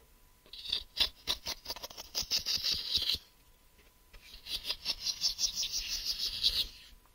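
Fingertips and nails tap and scratch the flat face and ridged side of a hollow grey translucent plastic case held up close. Two bursts of quick, uneven, bright clicking and scratching are separated by a short pause, with almost no low end.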